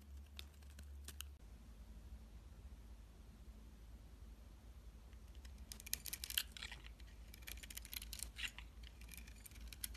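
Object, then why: Bar of soap shaved with a metal blade. A solid bar of soap with a blue swirl surface, held in the hand, is shaved with a metal box-cutter blade to reveal its white interior. Short, crisp scraping and crackling bursts come in a brief cluster near the start and then a denser run in the second half, bright and dry over a steady low hum.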